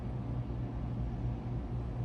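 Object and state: Nothing is struck.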